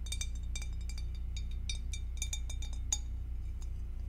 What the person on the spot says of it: Tapping on glass with acrylic nails